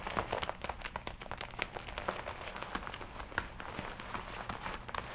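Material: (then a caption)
Leather. Hands rub the shoulders of a worn red and black leather jacket, then the sleeves are crossed and rubbed together, crinkling the leather. A quiet, steady stream of dry, scratchy crinkles and small bright snaps is heard over a soft low rustle throughout.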